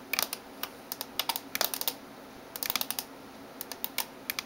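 Fingertips and nails type on the keys of a backlit plastic gaming keyboard. Sharp, bright clicks and taps come in quick bursts separated by short pauses. Each tap dies away almost at once, with little low-end weight.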